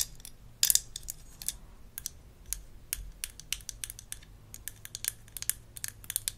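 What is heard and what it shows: Long acrylic nails scratch and tap a small light-blue plastic toy dental mirror with a textured handle, from a Melissa & Doug Super Smile Dentist Kit, held in hand. About 24 quick, bright plastic clicks and scratches sound with almost no ring, over a faint low hum.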